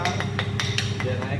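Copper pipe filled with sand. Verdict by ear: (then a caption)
Loose. A copper pipe filled with sand is tapped gently so the sand settles before bending, giving a series of light, bright clinking taps over a steady low hum. The pipe still sounds hollow at each tap because the sand is not yet fully packed, and more sand is needed until it packs tight.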